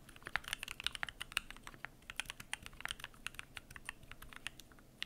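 Fingertips type continuously on the PBT plastic keycaps of a Keychron Q1 aluminum mechanical keyboard. An irregular stream of short, bright clicks and clacks follows with almost no ring or low end, some strokes louder than others.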